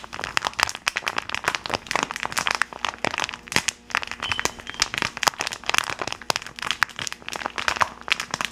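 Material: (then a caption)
Plastic film. A rainbow-printed plastic gummy candy bag is held flat and crinkled and rubbed between gloved hands in front of a microphone. It gives a steady stream of bright, sharp crackles and crinkles with quick, dry snaps and almost no low end.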